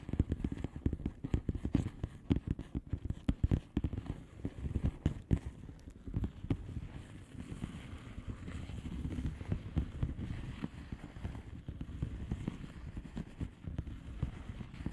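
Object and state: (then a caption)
Bubble wrap envelope. Long nails tap rapidly across the bubbles of a flat blue plastic bubble wrap envelope. The taps are soft, dull and low, with short, dry clicks and almost no ring. They come as a dense, uneven patter, busier in the first half and settling into a steadier rustling tapping later.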